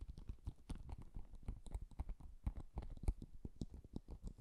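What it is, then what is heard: Hollow empty paper-covered box. A small, empty, hollow cardboard Japanese paper box covered in floral washi paper is held in both hands and tapped and scratched with fingertips and nails. The result is a quiet, steady run of soft, dull taps and scratchy brushes, mostly low and thuddy, with each touch dying away almost instantly.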